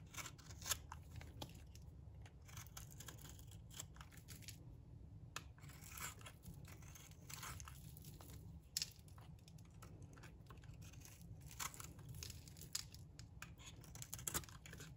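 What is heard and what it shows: A metal box-cutter blade scrapes shavings off the surface of a solid, dry, pink oval bar of soap. The strokes make a steady run of crisp, bright scratching and crackling, with sharper snaps here and there, over a faint low rumble.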